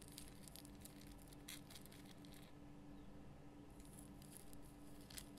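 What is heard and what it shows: Long fingernails scratch the rough crystal surface of a large pink Himalayan rock salt lamp, solid and lit from inside. Quiet, continuous bright scratching and crackly patter rides over a low steady hum with a faint tone near 290 Hz, pausing briefly around the middle before resuming.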